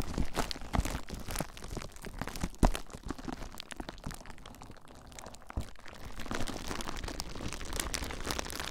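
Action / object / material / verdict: scrape / plastic bubble wrap / plastic / none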